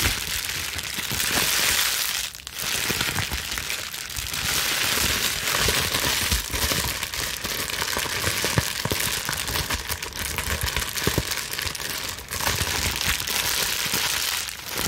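A bunch of plastic bubble wrap sheet, cupped in both hands, is squeezed, scrunched and scratched with long nails. It makes a steady, dense, bright crinkling and crackling with many quick sharp snaps and little low end. The sound runs continuously, with only brief dips in loudness near 2.4 and 12.3 seconds.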